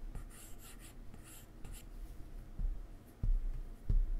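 A plastic stylus tip draws strokes across a solid iPad glass touchscreen, making soft, bright scratching and rubbing sounds. Then it taps the layer menu with dull, low, short knocks that are louder than the strokes.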